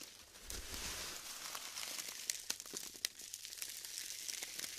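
Fingers squeeze and pull apart clusters of glued styrofoam balls, producing a continuous bright, dry crinkling and crackling. Sharp snaps and pops stand out through the texture.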